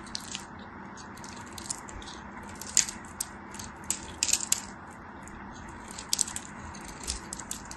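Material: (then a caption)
Soap. A hand-sized, solid, dry white soap bar, held by long white nails, is carved and scraped at its edges into crumbs with a metal craft knife. Bright, crisp scraping and crumbling runs throughout, over a steady, quiet hiss. Sharp clicks and crackles stand out where the blade bites.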